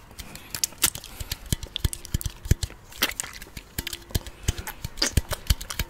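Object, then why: Aluminum beer can. A large, hollow aluminum beer can of about 650 ml, fill level not visible, is held in one hand and tapped with the fingertips and nails of the other. Roughly three dozen quick, dry, clicky taps come in irregular bursts, each ending almost instantly with no ring.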